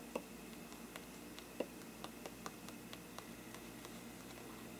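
The tip of a thin brush handle taps and scratches the side of a hollow faux-parchment paper lampshade. Thirteen soft, dry ticks with almost no ring are spread unevenly over faint papery scratching and a low, steady hiss, with two louder hollow taps near the start.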